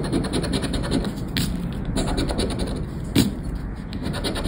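A thin, flat paper "Aranha da Sorte" lottery scratchcard lies on black cloth, held down by fingertips, while a round black scraper (probably plastic) repeatedly rubs off its silver latex scratch-off coating. A steady, dry, low rasping scratch continues throughout, with brief brighter scrapes around 1.4 and 3.2 seconds as the coating comes away.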